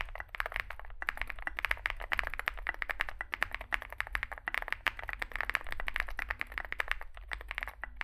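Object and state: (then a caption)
Mechanical keyboard being typed on. Both hands type continuously with their fingertips on a compact 65% Zoom65 mechanical keyboard, with an aluminium case, foam filling, lubed switches and SA plastic keycaps, resting on a desk mat. A rapid stream of short, crisp clacks and rattles centred around 1.8 kHz runs for the full eight seconds over a steady low hum, with a few brief pauses in the typing.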